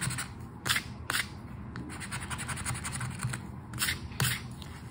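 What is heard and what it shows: A flat paper 20X lottery scratch card, held on a dark surface, has its scratch-off areas scraped with the edge of a red and gold token. The result is a steady, gritty rasp, with several louder, brighter strokes standing out against the softer continuous scratching.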